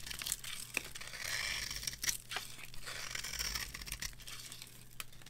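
A small metal knife scrapes and carves shavings off a solid rectangular bar of dry, varnished soap with a gold-coloured embossed top, held in the hand. The scraping is dry, crisp and crunchy, mostly bright and high, with a steady crackle broken by sharp little clicks and crumbly bursts.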